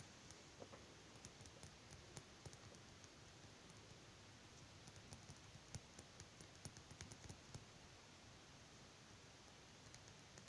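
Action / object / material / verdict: tap / small glass dropper bottle of oil / glass / none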